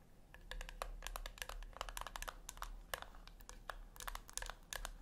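Long nails scratch across the top of a small round silver metal tin resting on a white cloth, then scratch along its rim edge. The result is a dense run of quick, dry, bright scratching clicks centered around 1.7 kHz, with almost no ring, over a steady low hum.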